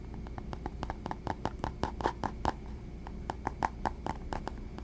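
Fingertips tap and scratch a small black textured faux leather pouch, soft and hollow, held close up. A quick, uneven run of short, dry taps gives a hollow mid-pitched knock with scratchy brushing between them. A steady low rumble sits underneath.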